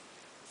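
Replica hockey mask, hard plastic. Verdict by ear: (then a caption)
Solid. A replica Jason hockey mask, heavy and thick rather than a cheap one, is tapped once. Low hiss gives way to a single sharp, bright tick near the end that dies away almost at once.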